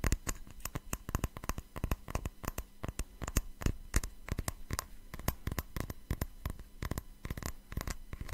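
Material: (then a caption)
Glass. Fingernails tap and scratch the faceted surface of a small, hollow, empty patterned cut-glass tumbler held in the hands. Rapid, irregular clicks and ticks crowd together with brief scratchy rasps between them. Each sharp tap dies almost at once over a steady low hum.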